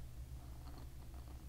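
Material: Nothing is struck.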